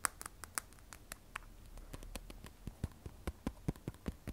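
Long nails tap the glass back of an iPhone 12 Pro, then the phone is turned to tap its stainless steel side edge. The result is a quiet, irregular run of short, dry clicks with no ring. The early taps sound bright and crisp, while the later ones carry a duller, low knock.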